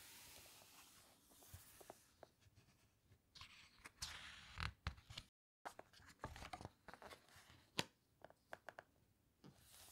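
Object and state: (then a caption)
Glossy paper book pages handled. Flat fingers press and squeeze the glossy pages of a large open hardcover book and turn a page. Soft, crisp paper crinkles and rustles come in quick bursts with sharp little snaps over a faint background hiss, broken by a brief moment of silence midway.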